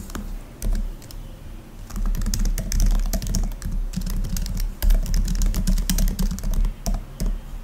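Fingertips type continuously on the black plastic keys of a rose-gold laptop, producing a steady stream of quick, crisp key taps with bright clicky edges. The taps come in uneven bursts over a soft, constant low rumble and hiss.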